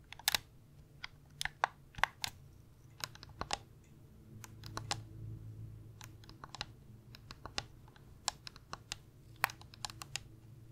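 Fingernails tap the shell and click the buttons of a light blue hollow plastic gamepad held in both hands. The result is an irregular series of sharp, bright, dry clicks and taps with almost no ring, over a faint low background murmur.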